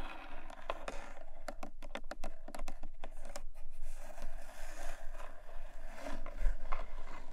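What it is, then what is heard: Cardboard box. Long nails tap and scratch along the side and top edge of a small, long, closed black textured cardboard jewelry box. A run of quick, dry taps in the middle is surrounded by softer, continuous scratching across the box surface.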